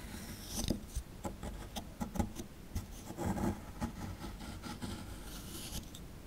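A plastic chisel tip scratches and picks at a solid plaster excavation block held in the hand, working around the tail and legs of a skeleton embedded in it. Quiet, dry scraping runs throughout, broken by several sharp, short ticks and crumbly picks that die away instantly.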